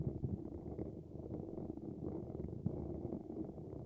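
Fingertips tap and rub the top of a handheld dynamic microphone's hollow grille, a dark mesh cap over its silver wire-mesh ball grille, directly on the recording mic. The result is a steady stream of close, muffled low thumps and scratchy rubbing, with the energy concentrated in the low range and almost nothing bright above.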